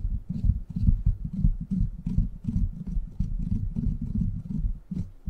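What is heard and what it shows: Fingertips scratch and tap the hollow, rounded steel mesh grille of a silver microphone, producing a rapid, irregular stream of dull, muffled thumps and rubbing. The sound is deep and boomy, concentrated almost entirely in the low range, with faint brighter scratchy edges and no ringing after each tap.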